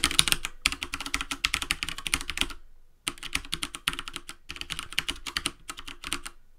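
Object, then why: Plastic computer keyboard. Both hands type rapidly with bare fingertips and short nails on a full-size black plastic keyboard with keycaps and a hollow housing, resting on a wooden desk. Bursts of quick, bright, clicky key taps with a faint low thump stop for a brief silence near the middle, then resume in further bursts.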